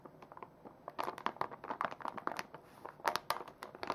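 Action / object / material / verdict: scrape / soft plastic foil wipes pouch / plastic foil / none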